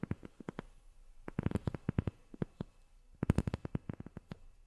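Long fingernails tap on a rubber sheet in quick, uneven clusters separated by short pauses. Each tap is a short, soft, dull thud, mostly low in pitch with a faint clicky edge, and it dies away almost instantly without any ring.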